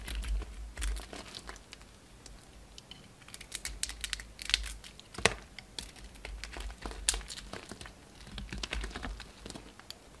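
A utility knife shaves and scrapes flakes off a solid pink soap bar with a red rim, held in the hand. Many short, dry crinkling scrapes and crisp cuts come in quick irregular bursts with bright high edges over a steady low rumble.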